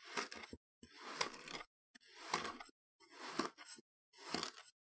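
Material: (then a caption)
Kinetic sand. A metal knife blade is dragged and scraped across a slab of spread-out green kinetic sand on a wooden chopping board, pushing the solid, moldable sand into ridges. Four separate gritty scraping passes are heard, each a crunchy, crackling drag with bright, hissy texture, separated by brief silences.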